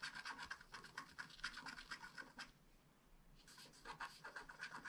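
A wooden stylus scratches densely in small strokes across a flat black scratch art card of wax-coated paper. Quick, dry, bright rasps come in an uneven rhythm and pause for about a second midway. The strokes then resume at the same pace.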